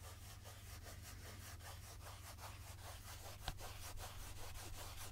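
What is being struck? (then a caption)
Plastic pump jug of oil. Fingertips rub and scratch the sides of a medium translucent plastic pump jug, mostly full of golden jojoba oil, making a quiet, uneven train of bright scratchy strokes over a steady low hum. A single sharp tap stands out around the middle, and at the end the jug is brought close to the microphone on the left.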